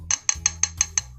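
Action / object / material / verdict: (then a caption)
tap / fiberglass printed circuit board / fiberglass / none. A purple fiberglass printed circuit board, not pertinax, is tapped six times. Each tap gives a short, bright, clear ring with a high, glassy tone that dies away almost at once, over a faint low hum. It sounds different from the other board.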